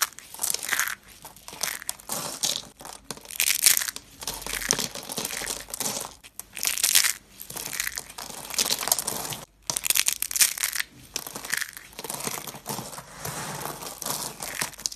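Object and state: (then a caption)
Dry soap curls. Green and purple hollow dry soap curls are squeezed and crushed in one hand with the fingertips, scattering flakes. The result is a steady run of dense, bright, crackling crunches in short bursts with brief pauses between squeezes and almost no low end.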